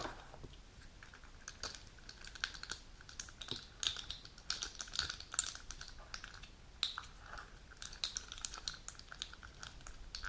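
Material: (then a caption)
Plastic, foil. A flat plastic and foil pill blister sheet with clear pockets full of dark capsules, held in the hands above its opened box, is tapped and clicked on the pockets by long nails. Many quick, light, bright plastic clicks and taps come in an uneven run with faint crinkling and very short decay, quiet overall.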